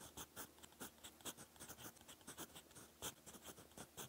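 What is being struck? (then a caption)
Metal pen nib on paper notebook page. A gold fountain pen nib scratches across a lined cream paper notebook page while writing. A quiet run of short, bright, dry scratching strokes comes in quick bursts, about 16 distinct strokes, with almost no low end.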